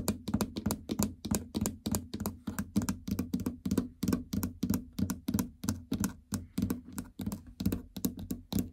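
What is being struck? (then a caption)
Plastic treadmill console with hollow housing. Long fingernails tap across the incline, speed and stop buttons of a plastic treadmill console keypad with a hollow housing. About 40 quick, unevenly spaced taps give sharp, bright clicks over a hollow low thunk. Each tap dies away almost at once.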